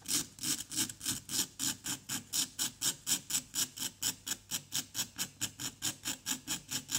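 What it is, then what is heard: Plaster dig block being scraped. A wooden pick scratches and scrapes repeatedly across a solid orange-yellow plaster dig block resting on cardboard and held by fingertips. About thirty quick, bright, gritty strokes follow one another in a steady back-and-forth rhythm, each with a soft low thud underneath.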